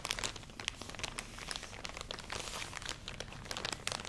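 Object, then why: Plastic package of cotton pads. A full plastic package of cotton pads, held close to the microphone, is scratched with fingernails and squeezed. It makes a dense, continuous plastic crinkling with sharp, bright clicks and rustles, steady in level throughout.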